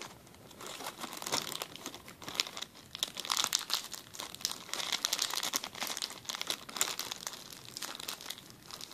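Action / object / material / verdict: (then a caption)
scrape / thin plastic zip-lock bag / plastic / none. A clear, empty plastic zip-lock bag is crumpled and rubbed with fingertips on a table. Dense, bright crinkling and crackling runs steadily for nine seconds in quick overlapping bursts, with almost no low-end body and no ring after each crackle.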